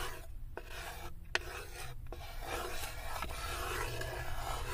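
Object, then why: Wooden serving tray. Long acrylic nails scratch and rasp along the inner corner and wall of a light wooden serving tray that sits open and empty. The sound is a dry, uneven filing texture broken by brief pauses and a few sharp clicks, over a steady low rumble that grows slightly louder toward the end.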